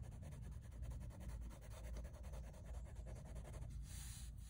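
A light-blue wooden colored pencil, held in the fingers, rubs and scratches across a large, flat sheet of drawing paper in a sketchbook bearing a half-colored anime drawing. It makes short, rhythmic shading strokes, a soft steady scratching over a low rumble, ending in a brief brighter hiss.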